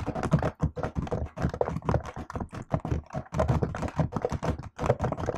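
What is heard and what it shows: Fingertips and long acrylic nails type rapidly on a MacBook-style laptop keyboard with plastic keycaps set in an aluminium body. A steady stream of short, dry clicks and taps carries a soft low thump under each press, with brief gaps between bursts of typing.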